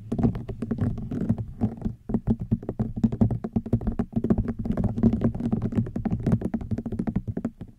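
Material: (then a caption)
Rattan. A hollow woven rattan wicker basket is tapped rapidly with long nails, producing a dense stream of soft, dull, hollow ticks that die away almost instantly. A low woody body sits around 200 Hz, with brief bright clicky edges on each tap.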